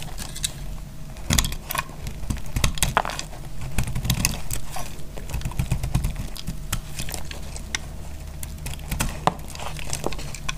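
A solid, dry blue glycerin soap bar held in the hand is cut and scraped with a utility knife blade. The cutting produces a continuous run of sharp, dry crackles and clicks as flakes come away, with bright ticks over a low steady rumble.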